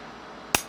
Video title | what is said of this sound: Is ValaVerse Action Force Crimson Shadow Weapons ANY GOOD ? | throwing it on the floor with some force and nothing is breaking